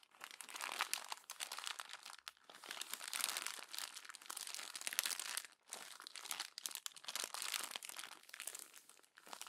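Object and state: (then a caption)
Glossy paper magazine. A hand crumples the pages of a glossy paper magazine and presses them down with the palm. The result is a dense, bright crackle in quiet bursts with almost no low end, broken by a few brief pauses.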